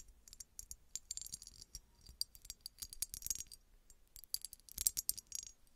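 Long red nails tap a small, hollow red embossed glass bottle that appears to be empty. The result is a rapid, irregular patter of quiet, bright, dry clicks with almost no ring, coming in clustered bursts separated by brief pauses.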